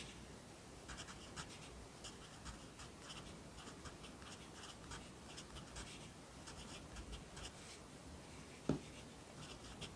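A yellow wooden pencil writes steadily on the right page of an open lined paper notebook lying flat on a desk. Soft, continuous scratching comes through with bright, rhythmic strokes over a low hum, and one sharper tap stands out near the end.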